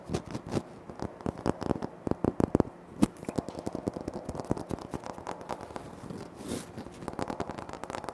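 Fingertips tap quickly on a flat, solid, speckled granite floor tile while nails scratch across its surface. It sounds like a dense run of short, dry clicks and crackly scratches that die away almost instantly, with a few louder taps standing out against a soft, gritty scraping.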